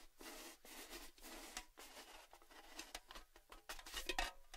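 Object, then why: Cylindrical metal tin with lid. Fingertips and nails tap the lid and side of a hollow, red, cylindrical Baileys metal gift tin with its lid on. The result is a quiet series of light, bright, hollow taps and scratchy brushes with a short metallic ring, growing a little louder near the end.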